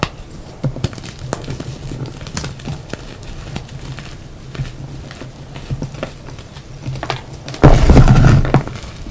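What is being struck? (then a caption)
Block of reformed gym chalk (magnesium carbonate). Fingertips press down on a dry, crumbly pile of yellow reformed gym chalk (magnesium carbonate), squeezing and crumbling the chunks between both hands over a mat. Soft, irregular crackles and light taps sound over a low, muffled rumble. Near the end, a louder, denser burst of crumbling fades back to quiet crackling.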